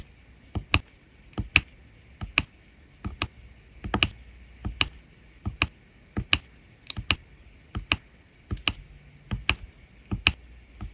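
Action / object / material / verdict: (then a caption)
tap / resin rhinestones on a diamond painting canvas / resin / none. A drill pen tip presses new resin rhinestones down onto a diamond painting canvas already densely covered with resin drills. About 16 short, sharp, bright clicks sound at an uneven pace, often in close pairs, each dying away almost instantly over a quiet background.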